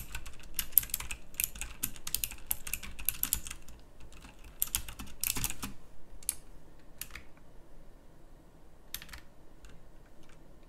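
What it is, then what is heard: Mechanical keyboard with round plastic keycaps. Moderate fingertip typing on a full-size backlit pink mechanical keyboard with round plastic typewriter-style keycaps. It produces quick, bright clicky keystrokes in dense, uneven bursts over the first six seconds, then sparser isolated clicks over a steady low background rumble.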